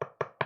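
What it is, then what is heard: Solid wooden box. Three quick knocks on a wooden box, made to check whether it is wood. Each is a short, dry, mid-pitched rap with a fast decay. The box proves solid.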